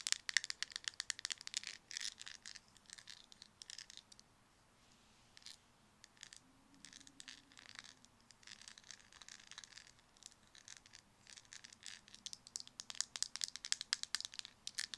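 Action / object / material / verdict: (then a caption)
tap / small plastic cosmetic jar with lid / plastic / none. Long red nails tap quickly on the black lid of a small round white cosmetic jar, likely plastic, and the jar is shaken. Dense bursts of sharp, bright clicks and light rattling come in fast runs, easing to a sparse, quiet stretch near the middle before building again toward the end.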